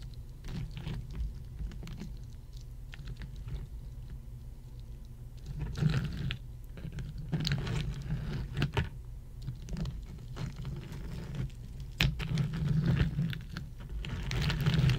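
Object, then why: Pile of ice cubes. A pile of solid ice cubes on a red mat is tapped and scratched with the long acrylic nails of both hands. Irregular, quick clicks and bright scraping bursts rise over a steady low rumble, with louder clusters around the middle and near the end.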